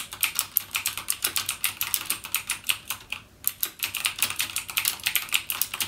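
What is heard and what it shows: Fingertips type rapidly on a backlit mechanical gaming keyboard with plastic keycaps and Cherry MX Blue switches. The result is a fast stream of bright, sharp clicks with almost no low end and a brief pause just past the three-second mark.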